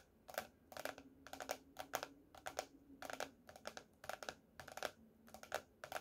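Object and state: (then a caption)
Hardcover notebook. Fingernails of both hands tap rapidly on the laminated cardboard cover of a closed teal hardcover paper notebook lying flat on a table. Quick, dry clicks come in short clustered bursts, with a hollow mid tone around 730 Hz and a bright edge. Each tap dies out almost instantly, and the overall level is quiet.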